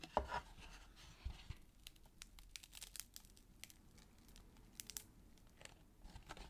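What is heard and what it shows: Fingers and thumbs rub, press and scratch the red paper-covered rims and plain brown cardboard inner surface of an empty small gift box lid. A louder, crinkly scraping at the start gives way to quiet, dry scratching dotted with many short, bright ticks and clicks.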